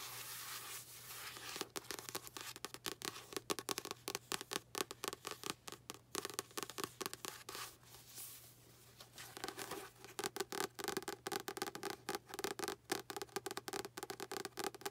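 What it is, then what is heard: Paperback book. Long nails tap and scratch the card cover and inside pages of a solid, light blue paperback book. Quick, dry, bright clicks and papery scrapes come in fast, uneven runs over a faint steady hum. A brief, softer rustling lull falls around the middle.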